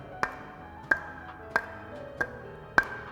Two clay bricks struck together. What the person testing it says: if you strike two bricks with each other It should produce that sound . What is that sound ? that sound is called metallic ringing sound